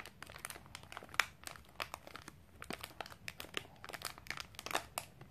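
A sealed Milo snack bar in a crinkly plastic wrapper is scratched and squeezed with long painted nails over a wooden table. The result is quiet, dense, bright crinkling made of many short, sharp crackles with almost no low end, with the loudest snaps near the start and toward the end.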